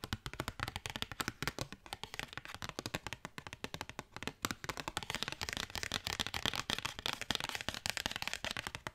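Fingernails rapidly tap and scratch a thin cardstock paper postcard, producing a fast, steady stream of quiet, sharp, dry clicks with a bright papery edge and no ring. Light scratching rasps fill the brief gaps between taps.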